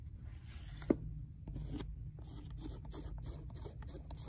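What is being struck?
Worn paperback book spine, paper and card.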